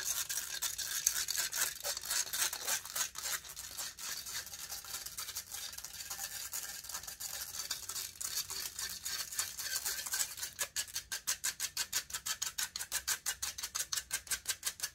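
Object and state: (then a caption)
Metal microphone grille. Long nails quickly scratch the hollow metal mesh grille of a large silver condenser microphone, making a dense, bright, hissing scrape for about ten seconds. The scratching then breaks into fast, evenly spaced rhythmic strokes, each a crisp high rasp, through the end.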